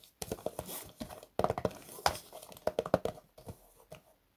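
Fingertips and short nails tap and drum on the top of a hollow, medium cardboard box wrapped in cream and gold printed wrapping paper, standing on a desk mat with unknown contents. Quick, irregular bursts of dry, papery taps carry a short hollow ring that dies away almost instantly.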